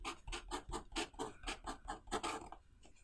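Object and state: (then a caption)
Pen scratching on a paper notebook page. A blue pen writes lines of Chinese characters on the right-hand page of an open paper notebook lying on a wooden desk. About a dozen quick, bright, scratchy strokes follow one another at an uneven pace, each with a soft low thump beneath. The strokes fade to quieter scratching at the end.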